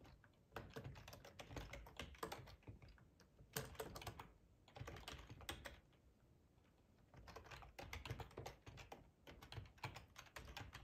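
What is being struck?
Plastic computer keyboard.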